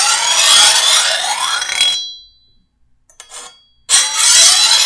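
A rusty metal file is pushed by hand along the edge of a long, solid steel machete blade to sharpen it. Two long, bright, rasping strokes are separated by a near-silent pause with a brief faint scrape, and high metallic ringing tones linger under the hiss of each stroke.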